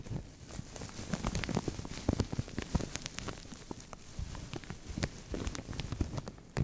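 Fingernails scratch and fingertips crinkle a translucent thin plastic bag stretched over a microphone. The result is a dense, continuous stream of crackling and rustling with sharp, bright ticks over a heavy low-end rumble, swelling and easing as the handling changes.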